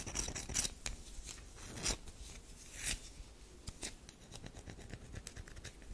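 Long nails scratch into the scored surface of a solid tan DURU bar soap held in the hands. Bright, crisp scraping strokes come at an irregular pace over a soft, dry rustle, with a few sharper, louder scratches standing out.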